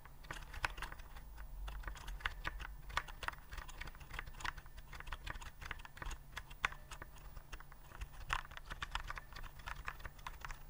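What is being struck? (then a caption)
Plastic keyboard with round keycaps. Fingertips type and tap on the round keycaps of a white plastic typewriter-style keyboard held upright. Quick, irregular streams of short, bright plastic clicks fall over a steady low hum.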